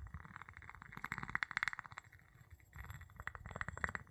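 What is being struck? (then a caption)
Glass jar tapped with a wooden pestle. The tip of a wooden pestle taps and rubs the bottom of an empty clear glass jar with a gold metal lid, held in the palm. Quick bursts of light, short clinking taps ring bright around 1.9 kHz, mixed with soft rubbing and low rumbly friction. After a quieter scraping pause in the middle, the taps start up again.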